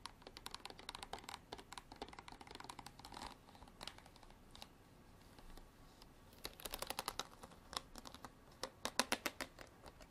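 Long black artificial nails tap and scratch a clear ridged plastic bottle partly filled with water, making rapid, bright, dry clicks that die away almost instantly. Bursts of quick tapping give way to a softer scratching stretch in the middle, then sharper, louder taps near the end.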